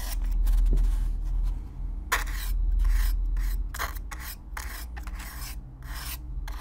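A stiff black-bristle brush is brushed close-up across the surface of a hollow brown corrugated cardboard box. Quick, fairly regular strokes produce bright, dry rasping scratches over a steady low hum.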